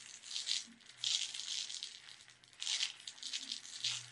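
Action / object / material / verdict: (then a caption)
tap / small plastic tub of sugar sprinkles / plastic / none. Long red nails tap on the side and lid of a small clear plastic tub with a purple-labeled lid, full of sugar sprinkles. Quick bright clicks and a light, high rattle come in short bursts as the sprinkles shift inside, with almost no low end.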